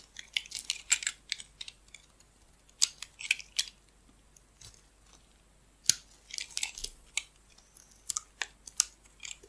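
A metal blade slices and carves chunks off a solid rectangular red bar of soap held in hand, with red soap pieces piled around it. Quiet, crisp, bright scraping and cutting strokes come in irregular bursts, dry and short, with almost no low end.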